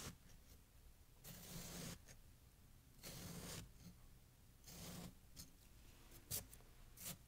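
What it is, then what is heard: Packed snow being cut. A metal knife cuts and scrapes through a fresh, compacted snow pile resting on a towel, while bare hands steady it. Three longer, crunchy, bright cutting strokes are followed by a few short, sharp scrapes over faint background noise.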